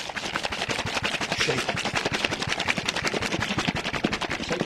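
A container holding a sauce mixture with added water and ice is shaken hard, giving a loud, dense rattling of rapid, irregular knocks and clatter that stays steady across the clip. The shaking continues until the sauce thickens and comes together, at which point the rattle grows quieter.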